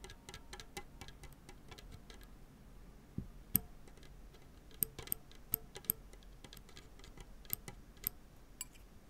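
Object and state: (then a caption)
Tennis racket strings plucked and scratched. A tennis racket with synthetic strings on a graphite frame lies flat with one hand holding the frame, while fingertips and nails pluck and scratch the taut strings near the lower string bed. Quiet, dry, very short plucks and scratchy ticks patter steadily over a low background hum, with a handful of sharper, louder snaps that ring bright for just an instant.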